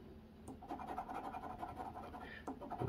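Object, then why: Paper scratch-off lottery ticket scratched with a coin. An Arkansas Lottery Double Cash scratch-off ticket made of thin cardboard lies flat on a wooden table, held down by the fingertips of one hand. The edge of a copper coin rubs off its latex coating with a continuous, dry, raspy scratching that rises into louder strokes, with brief sharp scrapes near the start and end.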